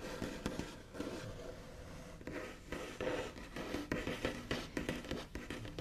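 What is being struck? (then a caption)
Wooden table top. Both hands tap and trace quickly across a large, solid, smooth white-finished wooden table top with the backs of the nails. The result is a fast, scratchy patter of dry clicks over a soft, low, woody body, with brief bright scraping between the taps.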